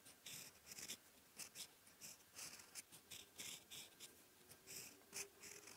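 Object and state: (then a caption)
Steel fountain pen nib scratching lined paper. A steel fountain pen nib, held in the fingers, scratches across a sheet of thin lined writing paper on a desk as it forms characters. A quiet, bright, airy scratching comes in short strokes with brief pauses between them, and there is almost no low end.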